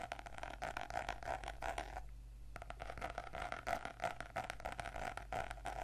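Fingernails scratch and tap on the glossy laminated cardboard cover and edge of a closed purple notebook lying flat on a table. Quick, uneven scratches and taps carry a mid-range tone, with a brief quieter pause near the two-second mark. A steady low hum runs underneath throughout.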